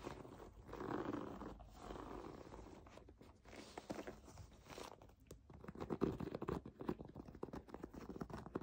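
Long nails scratch and tap across the nubs of a white, bubble-textured plastic foam bath pillow. Soft, crinkly scraping swells and fades through the first half. It gives way to quicker, denser clicking taps with a low, muffled body.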